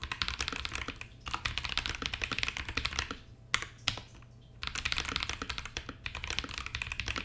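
A compact mechanical keyboard with plastic keycaps in a clear acrylic case, fitted with Akko CS Ocean Blue switches on a KBD67 Lite board, is typed on continuously by the fingertips of both hands. Rapid, bright clicky-clacky keystrokes come in dense bursts with short pauses, and a low steady hum sits underneath.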